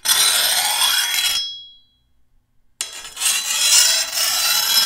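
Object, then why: Steel machete blade and hand file. A hand-held steel file scrapes along the edge of a long, thin, solid steel machete blade in two strokes. Each is a bright, hissing rasp with a thin metallic ring that briefly trails off after the first stroke. A short silence separates the two.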